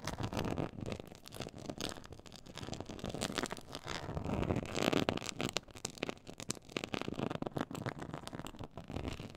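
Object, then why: Quilted faux leather board. Long pointed acrylic nails on both hands scratch across a black, glossy, quilted faux-leather textured board. The result is a dense, continuous run of rapid, crackly scraping strokes. It swells slightly louder in the middle of the clip.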